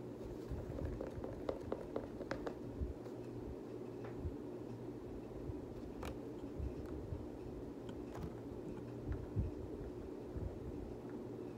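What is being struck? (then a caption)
Knit textile sneaker with foam sole. Fingers scratch the flyknit textile upper of a hollow, multicolor Nike Kobe 9 high-top sneaker with a foam sole and handle its laces. The result is a quiet, steady, low, muffled rustle, broken by short, dry crackles and soft taps that die away instantly.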